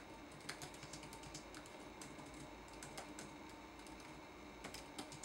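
Fingertips type on a red-backlit laptop keyboard with plastic keycaps, producing dense, quiet, clicky taps with bright, crisp attacks. The keystrokes come in uneven bursts over a steady low hum, with a few slightly louder presses standing out.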